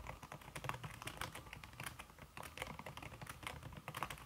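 Fingertips with red-painted nails type fast on a slim backlit aluminum keyboard whose keys are covered by a red silicone skin. The result is a rapid, steady stream of soft, muffled key taps with short dull thuds and quick bright clicks that stop almost instantly, at a fairly quiet level.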